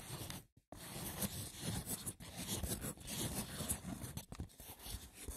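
Fingertips with short nails tap and scratch the top of a small, hollow, rectangular woven wicker box with a lid. The result is a continuous rough, crackly scraping with a bright rustle, mixed with soft, low, hollow taps. There is a brief silent pause near the start.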